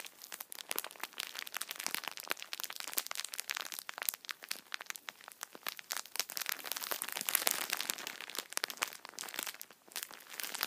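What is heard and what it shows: A full multipack of tissue packets wrapped in thin plastic film is squeezed with both hands and rubbed with fingertips, crinkling the film. Dense, bright crackles and sharp crinkles run continuously for about eleven seconds, with almost no low end and each crack dying away instantly.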